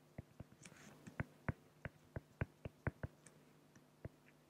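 A felt-tip pen hatches short strokes across a flat, clear acrylic plexiglass sheet, scratching the plastic. About fifteen quick, dull ticks are heard, each one separate and dying away almost at once. The sound is quiet and mostly low, with a faint hum underneath.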